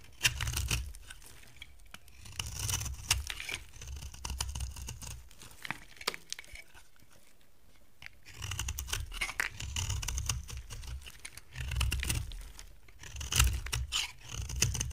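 A box cutter blade shaves crumbly flakes from a solid, dry brown soap bar with a gold coating, held in the hand, into a pile. Bursts of dry, bright scraping and crackling sit over a soft low thump, with a quieter stretch near the middle before the cutting resumes.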